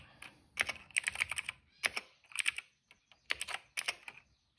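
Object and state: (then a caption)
Plastic mechanical keyboard. Fingertips type on a cream plastic mechanical keyboard with black and purple keycaps and a hollow case. Bright, sharp clicks come in quick bursts separated by short pauses, each keystroke dying away almost instantly with little low-end weight.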